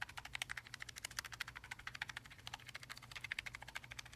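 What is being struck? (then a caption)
Mechanical keyboard with plastic keycaps on an aluminium plate. A gloved fingertip presses and taps individual keys on a black low-profile tenkeyless Logitech G915 TKL linear mechanical gaming keyboard, with plastic keycaps on an aluminium top plate, lying flat on a red surface. About 33 quick, quiet, bright clacks come in a steady rapid stream, each dying away almost instantly over a faint low hum.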